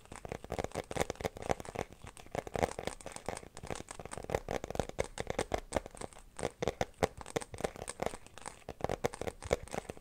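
Fingertips and nails scratch and tap against the inside surface of an empty, transparent glitter plastic phone case held up in the air. The result is a dense, continuous stream of quick, dry, crinkly clicks and scratches with a mid-range body around 500 Hz, each sound cutting off almost instantly.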